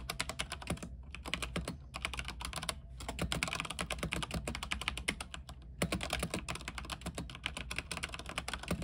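Both hands type with the fingertips on an RGB mechanical keyboard with white plastic keycaps on an aluminium frame. Rapid, bright, clacky keystrokes run throughout over a steady low hum, with brief pauses in between.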